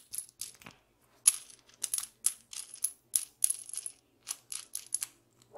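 Long pink fingernails turn a hex nut threaded on a small solid steel bolt and tap the metal, the bolt held between the fingers close to the microphone. Quiet, bright metallic ticks and scraping clicks come in quick, uneven bursts with almost no ring, all high and thin with no low end.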